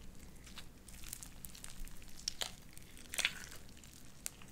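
Light-blue sticky slime with white beads is kneaded and squished with the fingers of both hands. It makes quiet, wet crackling and squelching with sharp, bright pops and clicks over a faint low background hum.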